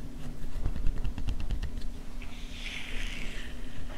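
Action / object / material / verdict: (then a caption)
tap / soft silicone cleansing pad with bristle nubs / silicone / none. A palm-sized, flat, soft pink silicone face scrubber pad covered in short bristle nubs is held in the hands and brought close to the camera, where long painted nails tap and scratch its bristled surface. About nine quick, dull, low taps in the first two seconds give way to a softer, brighter scratching rustle, all over a steady low hum.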